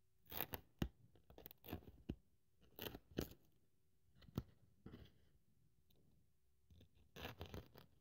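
A thin white polyethylene foam sheet, held by long-nailed fingers, is cut into strips with a craft scalpel blade. Quiet, close crunching and scratching bursts come in irregular clusters, with sharp, bright snaps between softer scraping passes and low thuds underneath.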